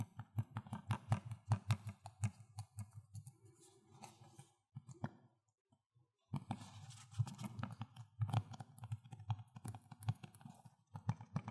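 Fingers tap on the hollow plastic Xbox 360 case of Need for Speed: Most Wanted, giving quick, crisp, low clicks with a short hollow ring. The tapping runs in fast, uneven bursts, pauses briefly near the middle, then picks back up.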